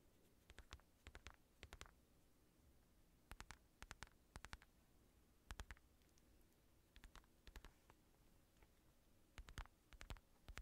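Fingertips tap and scratch the padded curve of an empty black synthetic leather boxing glove with red lining. Short, dry, bright clicks come in quick clusters of a few taps each, separated by brief pauses. A faint, steady low hum sits underneath throughout.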